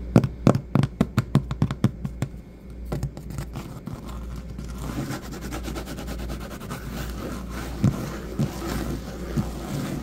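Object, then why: Patterned vinyl floor. Fingertips and knuckles with short nails tap on a solid, patterned vinyl or linoleum floor. A quick run of sharp, dull taps opens the clip, then it settles into softer, denser tapping and light scratching over a steady low hum, with a few louder knocks near the end.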